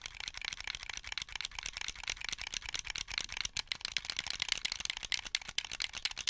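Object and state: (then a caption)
Plastic game controller buttons clicking. Fingertips press the triggers and bumpers of a hollow, translucent blue plastic Xbox 360 controller held in both hands. The result is a rapid, continuous stream of dry, bright plastic clicks that die away almost instantly, centered around 3 kHz with almost no low end.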